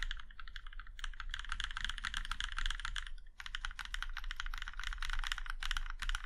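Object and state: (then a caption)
Mechanical keyboard being typed on. Fingertips tap individual keys, including the arrow keys, on a compact mechanical keyboard with a plum-red aluminum case and black keycaps. The result is a steady, dense run of short, bright clicky keystrokes with a brief pause near the middle, set over a low background rumble.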